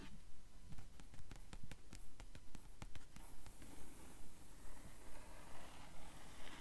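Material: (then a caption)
Paper. Long nails tap and scratch the paper pages of an open blue hardcover book with yellowed page edges. Soft, dull taps land at a steady, even rhythm, with a bright, papery scratching hiss that grows more continuous in the second half. The sound stays quiet throughout.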